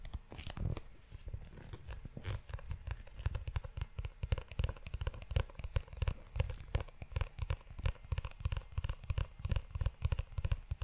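Fingertips tap and scratch the cover and ridged spine of a brown, book-sized leather notebook held close to the microphone. The result is a dense, fast run of dry, muffled thumps with deep, low-heavy body, each dying away almost instantly, under a faint crackly scratching texture.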